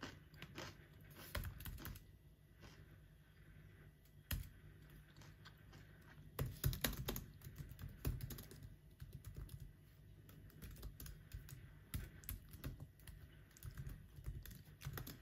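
Fingertips of both hands type quickly on the black plastic keys of a silver aluminum MacBook laptop. The result is a quiet, irregular stream of rapid, short clicks and taps, heavy in low thuds with little brightness. A few louder key strikes stand out from the steady clatter.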